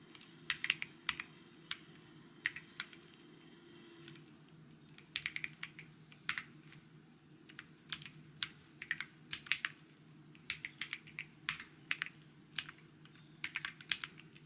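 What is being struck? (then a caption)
Mechanical keyboard with plastic keycaps. Fingertips type on a white mechanical keyboard with plastic keycaps, producing sharp, bright clicky taps in irregular bursts with short pauses between them. A steady low hum runs underneath throughout.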